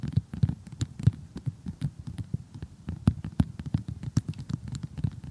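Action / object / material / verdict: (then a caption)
tap / cardboard jigsaw puzzle / cardboard / none. Long glittery glass-effect fingernails tap rapidly on an assembled cardboard jigsaw puzzle with a glossy printed cartoon picture, lying flat. The result is a fast, uneven run of short, dull, low thuds with almost no ring, some taps landing harder than others.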